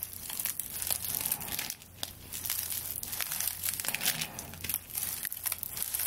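A straw broom is held horizontally above the microphone while long nails scratch and rub the tied, dry straw stalks of its handle. The result is a dense, bright, crinkly crackling and scratching that keeps going, with brief pauses, over a faint low steady hum.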